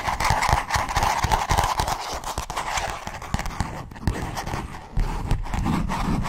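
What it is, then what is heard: Notebook cover scratched with nails. A black notebook with a matte cover and pink page edges has its cover scratched with fingernails, and its page edges are handled. The result is a fast, irregular run of rough scratching and rustling with a strong midrange rasp, mixed with soft low thumps from the handling.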